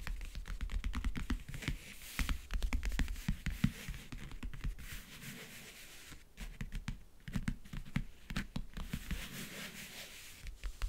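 Fingertips and nails rub and scratch over the lid of a closed, hollow backgammon case with a map-print covering. The result is a steady stream of dry scratching and rubbing with quick, clicky taps and a low, hollow resonance from the case body.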